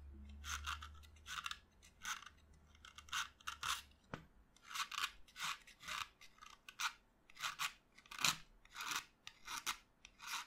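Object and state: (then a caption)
Chalk stick being scraped with a knife blade. A solid white chalk stick lying on a table, held by the fingers, is cut and scraped with a utility knife blade. Repeated short, dry, gritty scraping strokes with a bright, hissy edge follow one another steadily, with a faint low hum at the start and a brief sharp tick partway through.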